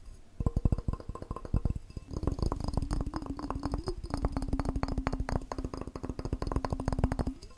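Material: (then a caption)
Glass. A glass cup is tapped rapidly with the fingers in a fast, continuous stream of short, dry taps. Each tap has a dull low thump and a faint glassy tone that sits higher at first, then drops lower after about two seconds as the tapping continues.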